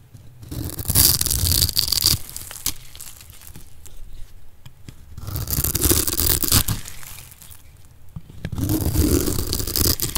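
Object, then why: Bar of soap cut with a metal blade. A solid oval lime-green bar of dry soap held in the palm is diced into small cubes with a metal blade. Three bursts of crunchy, crumbling scraping rise and fall, bright and gritty over a low rumble, with quieter crackling in between.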